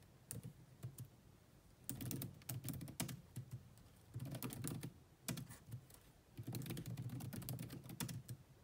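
Long manicured nails and fingertips type fast on the dark plastic chiclet keys of a grey laptop with a hollow body. Bursts of rapid, clattering clicks with a hollow low thud and bright, sharp tips come in quick runs separated by brief pauses.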